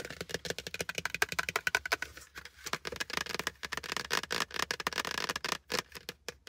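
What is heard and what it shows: A plastic hard hat is tapped fast and aggressively with fingers for ASMR, producing a rapid, uneven stream of sharp, dry clicks. The taps have a bright, hollow plastic tone around 1.6 kHz and die away almost instantly, with only brief pauses between bursts.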